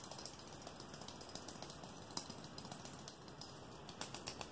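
A long, thin, clear, rigid solid plastic strip like a ruler is held in one hand and quickly tapped and flicked with the fingertips and nails of the other hand. The result is a quiet, rapid, irregular stream of short, bright clicks and ticks over a steady hiss, with a few sharper snaps standing out.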